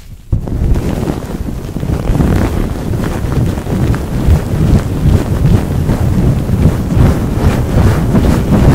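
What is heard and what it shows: Fingertips with long nails rub a white paper tissue fast and hard over the hollow woven metal mesh grille of a large condenser microphone. After a brief quiet start, a loud, dense, rumbling friction noise sets in, mostly low and boomy with rapid, uneven scratchy pulses. It continues steadily to the end.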